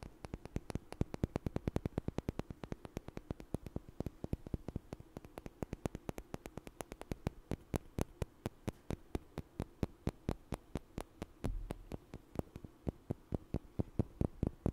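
Two small, solid, light wooden blocks are knocked together and tapped with fingers close to the mic. About 93 short, dry clicks with a low, woody body and almost no ring follow in a quick, steady stream for nearly fifteen seconds. A brief low thump sounds partway through.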